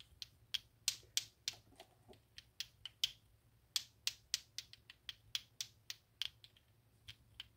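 A plastic clacker balls toy, two small solid pink plastic balls on a string, is swung up and down by hand so the balls knock against each other repeatedly. About 21 sharp, bright clacks sound in an uneven rapid rhythm over quiet background. Each clack dies away almost instantly, with no low-end body.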